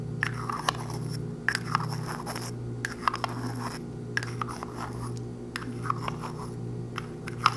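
A small, hollow pink plastic lipstick tube with its cylindrical cap closed is held in one hand close up and tapped and clicked with long white-tipped acrylic nails. Crisp, dry little clicks and scraping taps come in uneven bursts, each dying away almost instantly. They ring with a bright plastic tone around 1.2 kHz over a steady low hum.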